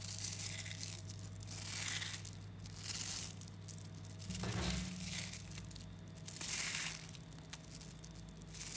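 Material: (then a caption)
Neodymium magnet. Thumbs squeeze a clump of about 11,000 small 3mm neodymium magnetic balls, then hands stretch the mass into chains. Dense, bright clicking and snapping crackles come in waves that swell and fade. A steady low hum runs underneath throughout.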